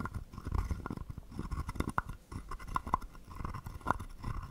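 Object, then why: Carved wooden frog guiro. A wooden stick is scraped over the ridged back of a palm-sized, hollow, carved wooden frog guiro held in the palm. It makes a dense, irregular run of rasping scrapes with a hollow woody tone around 1 kHz and a soft low rumble. Sharper clacks stand out near 2, 3 and 4 seconds.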